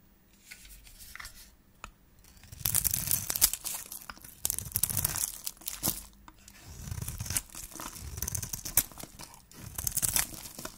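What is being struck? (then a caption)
Bar of soap shaved with a metal blade. A solid, hand-sized bar of dry soap in a pink shiny wrapper is held in one hand and shaved with a flat metal blade, peeling cream-coloured curls off its face. Bursts of dry, crackly scraping and tearing with bright, crisp texture come in repeated waves, separated by quieter pauses.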